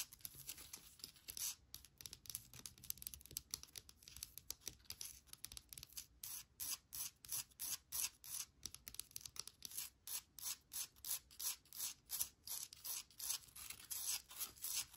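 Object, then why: Small driftwood plant holder. Long nails scratch and tap along the wood grain of a small driftwood air plant holder that holds an air plant. The result is quiet, dry, hissy scraping, building after the first few seconds into a fast, steady run of short, bright strokes.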